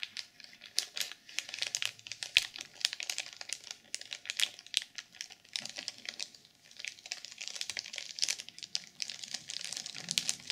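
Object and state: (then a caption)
Sequin-covered journal in plastic wrap, scratched. Long purple nails scratch the cover of a black sequin journal sealed in clear plastic film. Dense, bright crinkling and rapid scratchy clicks fill the clip, with almost no low end, and each sound dies away almost instantly.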